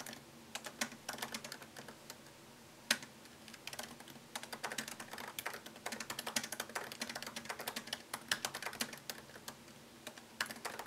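Fingertips type on the plastic keycaps of a MacBook Pro laptop keyboard set in an aluminium body. The result is a quiet, steady run of light, crisp clicks and taps with bright, dry attacks and almost no low end. A short pause comes near the start, and the typing grows denser through the rest of the clip.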